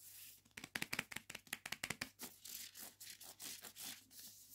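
Long nails scratch and rub the spine and the front and back paper dust jacket of a hardback copy of "Complicit" held in the hand. A quick run of sharp, bright scratches gives way to softer, smoother rubbing strokes with a slight papery crinkle. The sound is quiet and mostly high, with almost no low end.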